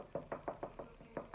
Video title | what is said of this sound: Pineapple, Ginger and Turmeric Shots | See how it sounds like wood?